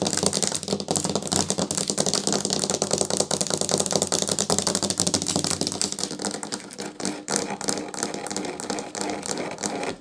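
Long fingernails rapidly tap and scratch a narrow, solid wooden edge strip running along a tiled tabletop. The result is a dense, continuous stream of bright, dry clicks and scrapes with almost no ring, holding a fairly steady level that thins slightly toward the end.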